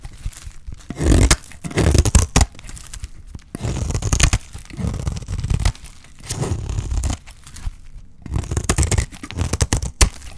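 A utility knife blade scrapes and cuts the surface of a solid, dry green soap bar held in hand. Bursts of dry, crunchy scraping and tearing come and go with short quiet pauses between them, full and low with a bright crackle on the sharper strokes.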